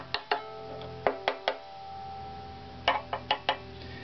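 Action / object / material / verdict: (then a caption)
tap / wooden violin fingerboard / ebony wood / none. Ten short, dry taps land on the ebony fingerboard of a full-size hollow-bodied wooden violin, made with the fingertips or a knuckle while the instrument is held by its neck. Each tap gives a quick woody knock around 410 Hz, and the strings ring faintly in sympathy between taps.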